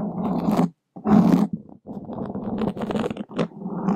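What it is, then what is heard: Foam microphone windscreen being scratched. Two long wooden skewers scratch a black open-cell foam microphone windscreen from both sides, producing a close, rough, low scratching that rumbles like a growl. The scraping comes in dense bursts with a brief silence just before the one-second mark, then continues nearly unbroken with short dips.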